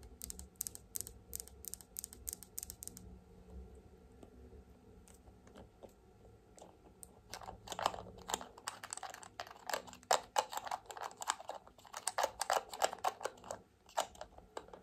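A small glass serum bottle filled with amber oil, with a white rubber dropper bulb and a silver collar, is held in one hand while the long nails of the other hand tap the bottle and the dropper cap. The result is rapid, dry, bright clicks, sparse at first and then dense, with short glassy rings near 850 Hz that die away almost at once.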